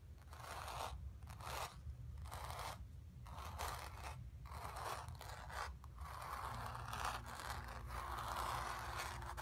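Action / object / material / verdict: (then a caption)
scrape / acrylic-painted stretched canvas on a wooden frame / canvas / none. Long nails scratch the surface of a square acrylic-painted stretched canvas on a wooden frame, hollow behind and resting on carpet, using both hands. Rhythmic raspy scraping strokes centered in the midrange come in bursts with short gaps, over a constant low rumble, then settle into steadier continuous scratching toward the end.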